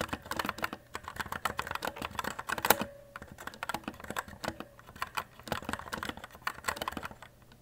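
Fingertips type rapidly on the plastic keycaps of a white E-Element Z-88 RGB mechanical keyboard. The result is a fast, uneven run of short, sharp plastic clacks with a mid-pitched tone and quick decay, with one louder clack near the middle.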